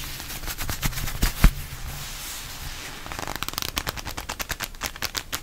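Gloved fists in shiny black leather gloves on both hands are squeezed and rubbed quickly up close, producing rapid leather creaks and crackling rubs over a low rumble. A few sharper squeaks stand out early, the loudest just before the midpoint, followed by a quieter stretch of soft rubbing. A fast run of bright, evenly spaced creaks then fills the second half.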